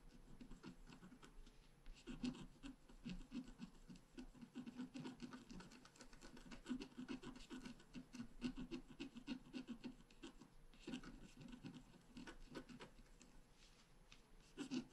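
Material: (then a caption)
Coated paper. A wooden stylus scratches blossoms near the top of a flat black-coated scratch art paper card held down with one hand. Quiet, dense, rapid scratching strokes run continuously, with a low-mid body and faint bright grit, and a few louder strokes stand out.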